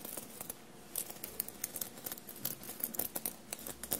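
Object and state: Sequined fabric shirt.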